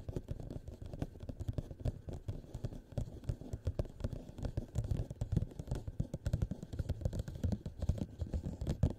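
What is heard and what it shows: Fingernails quickly tap and scratch along the outer walls of a tall, hollow, empty clear plastic cup turned upside down over a microphone. The result is a dense, steady stream of rapid, muffled thuds and soft scrapes with a deep, boomy low end. Each tap dies away almost at once.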